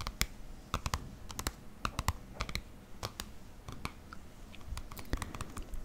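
Fingertips and nails tap and scratch the cover of a green paperback book with a white barcode label, held in the hands. Quick, dry clicking taps come in irregular bursts, each dying away almost instantly, over a low, soft rustle and scratching.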